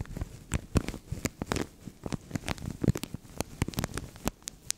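Fingernails scratch and fingertips crinkle a translucent thin plastic bag placed over a microphone. The result is a close, rapid series of sharp crackles and rustles that flick up into bright highs, over a dull, low thumping rumble from the bag pressing on the mic.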